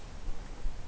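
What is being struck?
Nothing is struck.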